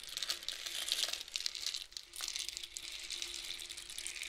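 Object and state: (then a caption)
Cardboard rainstick. A long, hollow painted cardboard rainstick with loose filling is held diagonally and flipped by hand, so the filling trickles through the tube. It makes a dense, bright patter of tiny crackles and hiss, concentrated around 3.8 kHz and above. The sound briefly thins near the two-second mark as the tube turns over, then the steady rain-like shower resumes with a faint low hum underneath.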